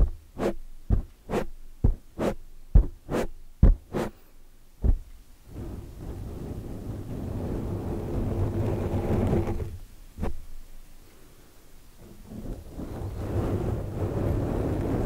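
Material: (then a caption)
Foam. Long nails tap a soft, porous black foam microphone windscreen in a quick series of dull, low thuds. Then the nails scratch and rub while the hands grip the foam, making a steady muffled rustling broken by one more tap before the rubbing resumes.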